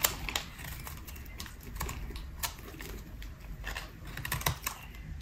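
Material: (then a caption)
Soap. A solid, speckled pink bar of dry soap held in the hand is shaved with a metal utility blade. Each scrape makes a short, dry, crisp crackle with bright high edges, repeating irregularly over a soft low rumble.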